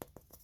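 Four quick, hollow knocks on a harvested gourd that has gone light, each a short, dull tap centered around 480 Hz with almost no ring. The hollow sound shows the gourd is dry on the inside, unlike a heavy gourd that is still full.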